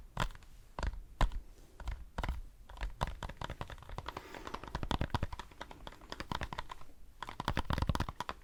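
A foam decorative pumpkin is tapped with fingers, giving a quick, irregular run of soft, dull taps. The taps are short and muffled with a low thud, a few landing harder than the rest, and faint scratchy rustling runs between them.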